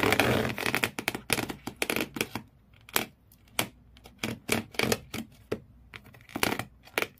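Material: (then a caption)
Cardboard. Fingernails scratch the corrugated cardboard floor inside an empty cardboard shoe box, leaving frayed marks. A dense, rapid burst of bright, raspy scratching opens the clip, then gives way to separate short, crisp scrapes with quiet gaps between them.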